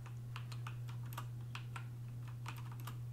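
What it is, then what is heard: Plastic computer keyboard. Fingertips with medium-length painted nails on both hands type slowly on a full-size black plastic computer keyboard resting on a wooden desk. The result is light, bright tapping and clicking of key presses over a steady low hum.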